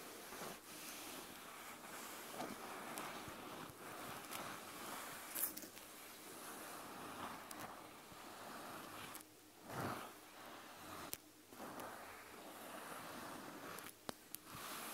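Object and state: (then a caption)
Plush fabric eye mask back. Fingertips and nails gently rub and scratch the soft white plush fabric back of a gel eye mask with black fuzzy ears, lying turned over and flat on a wooden table. The result is a quiet, steady, breathy rustling and scratching hiss, broken by a few brief louder scuffs and ticks.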